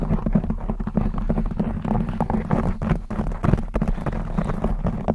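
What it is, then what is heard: Knit fabric microphone cover being scratched. Long blue acrylic nails scratch a black textured knit fabric cover stretched over a rounded microphone head, producing a dense, continuous run of quick, rough scraping strokes. The sound is heavy and muffled in the low end, with a steady rumbling buzz beneath the short, dry scratches and almost no bright content.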